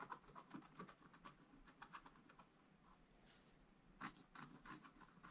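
A pointed wooden stylus held in the fingers scratches continuous strokes across a thin, solid sheet of black wax-coated scratch-art card in a book lying flat on a table. The sound is a quiet, dry, rasping scratch in quick short bursts, centred around 1 kHz with a faint bright hiss on top. A louder cluster of strokes comes near the end.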